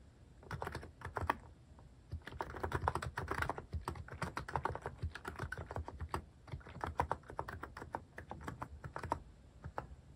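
Fingertips type steadily on a Hanmumu plastic mechanical keyboard fitted with cat-shaped plastic keycaps. Rapid, short, clacky keystrokes come in uneven bursts with a solid low thock beneath each press. A brief pause near the two-second mark breaks the run before the typing resumes.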